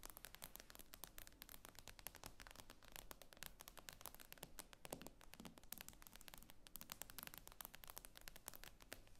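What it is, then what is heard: Glass-screen tablet tapped with nails. Long acrylic nails tap rapidly on a solid, thin tablet with a glossy glass screen and metal frame, lying flat on a wooden table. The taps come as a dense stream of sharp, bright clicks, each dying away almost instantly, over a steady low hum.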